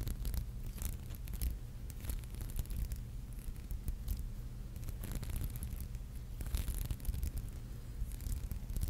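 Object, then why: Glass seed-bead brooch. Long nails scratch across a palm-sized red and gold glass seed-bead maple leaf brooch resting on a palm. The result is a steady run of fine, bright, rapid scratching ticks over a constant low hum.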